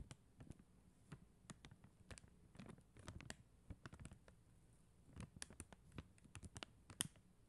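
Long acrylic nails tap and scratch across a flat sheet of acrylic rhinestone stickers on a white backing. The result is a quiet, steady run of short, dry, bright clicks with almost no ring, mixed with soft scratching over a faint low rumble.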